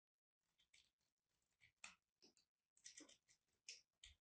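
A metal blade cuts and scrapes into a small, solid, crumbly dried soap chunk in white and purple, held between the fingers of one hand with long painted nails. Quiet, bright, crisp crunching and scraping bursts come in quick, irregular succession with very little low end. The chunk is crushed and cut.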